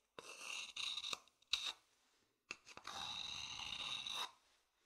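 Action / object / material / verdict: scrape / wooden bowl scratched with a thin stick / wood / none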